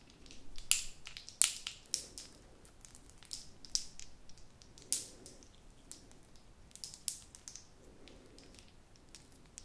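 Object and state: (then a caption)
Plastic novelty pen with ball topper. A blue plastic novelty pen, held upright, has its colourful plastic ball topper squeezed, tapped and scratched by fingertips and long nails. The result is a quiet, irregular run of crunchy, bright plastic clicks and crackles with very short ring. Between them come soft, low rustling scratches.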